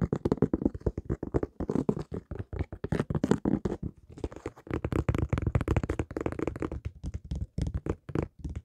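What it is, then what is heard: Rubber-soled sneaker. A single empty white high-top sneaker with a synthetic leather upper and textured rubber sole is held in both hands and tapped and scratched with fingertips and nails. The result is a rapid, continuous stream of short, dull, low-toned taps with faint scratchy texture and almost no ring.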